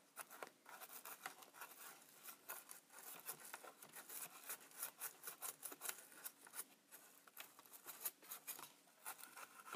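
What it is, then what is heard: Plastic instant camera body. A thin pen-like tool tip is tapped and scratched across the silver front panel of a Polaroid Supercolor instant camera with a hollow plastic body, near the lens window. The result is a quiet, rapid, uneven run of dry clicks and scratchy rasps that stop almost instantly, bright and hissy, with no low end.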